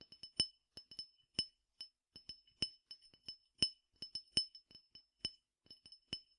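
A clear glass tumbler partly filled with peppercorns is tapped with fingertips and nails, giving seventeen bright, glassy clinks at an uneven rhythm. Each tap is high and thin with almost no low end, dying away almost at once, with quiet pauses between taps.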